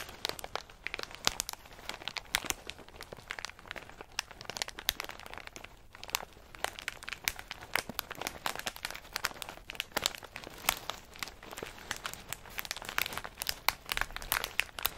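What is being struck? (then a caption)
Plastic snack bag of in-shell pistachios. A medium plastic snack bag full of in-shell pistachios is held in both hands and squeezed and kneaded with the fingers and thumbs. The plastic gives a steady stream of bright, sharp crinkles and crunches with little low end. Each crackle cuts off instantly.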